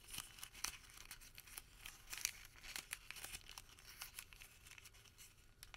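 A small rolled tube of white thermal paper receipt is twisted and pinched between fingertips. It gives quiet, dry, bright crinkling with rapid sharp crackles and almost no low end.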